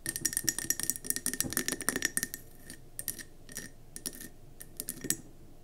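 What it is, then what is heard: Glass candle jar tapped with fingernails. Long nails on both hands tap around a gold-speckled mercury glass candle jar with a gold lid, filled with yellow wax and sitting on a table. A quick, dense flurry of bright, clicky glass taps with a faint ring fills the first two seconds, then the taps thin out into scattered single clicks.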